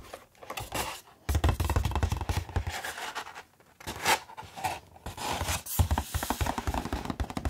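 A medium-sized, hollow Steam Deck OLED retail box with a glossy holographic printed cardboard sleeve is held in both hands and tapped and scratched with bare fingertips across its front. The result is a dense run of quick, dry taps and scratchy scrapes with a low, hollow thump beneath them, broken by a few brief pauses.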